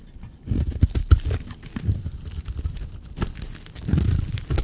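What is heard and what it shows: A blade scrapes across a solid, dry teal bar of soap, shaving off curls. The result is a low, dull series of crunchy, tearing scrapes with short crackling bursts. The strokes run into one another rather than falling as separate hits.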